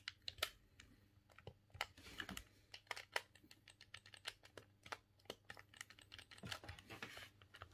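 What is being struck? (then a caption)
Plastic game controller buttons. A silver, hollow plastic GameCube controller is held in both hands while the thumbs rapidly click its buttons. The result is a quiet, irregular stream of short, sharp, bright plastic clicks that stop almost instantly, over a faint low hum.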